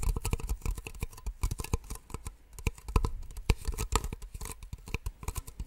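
Two identical small, empty white plastic cups held in both hands are tapped rapidly with long nails. The result is a dense, irregular run of short, dry clicks with almost no ring, each carrying a soft low thump beneath a brief bright tick.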